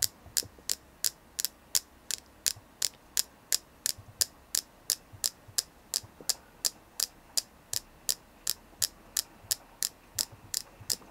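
A palm-sized solid white flower-shaped selenite carving is tapped and scratched with long painted nails. About 32 sharp, bright, dry clicks come at a steady, quick pace, roughly three per second. Each dies away instantly over a faint background hiss.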